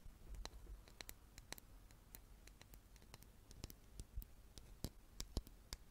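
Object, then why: Small wooden chess piece. A small solid wooden chess piece held in the hands is tapped with long nails and fingertips. The result is a quiet, irregular series of many sharp, bright clicks and light taps that die away almost instantly, over a soft low rumble.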